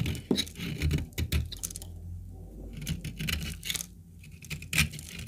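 A small oval piece of dry, cracked brown laundry soap, held in black-gloved fingers, is scraped and shaved with a metal utility knife blade. Dry shavings fall off as the blade makes a run of short, dry scratching and crackling scrapes with bright edges, broken by a few quiet pauses.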